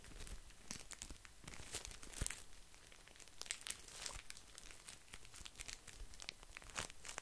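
A small pocket pack of paper tissues in a crinkly printed plastic wrapper, soft and full, is squeezed and scratched with fingertips close up. It makes a steady stream of bright crinkling and crackling with short sharp snaps, while the tissues inside give a soft low body to the sound.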